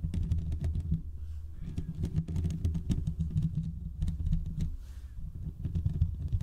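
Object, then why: Metal microphone mesh grille. Short fingertip nails scratch and tap the hollow metal mesh grille of a large condenser microphone. A dense, boomy low rumble centred around 82 Hz runs throughout, with rapid crisp clicks and scratchy bursts that reach up into bright highs. Each tap dies away almost instantly.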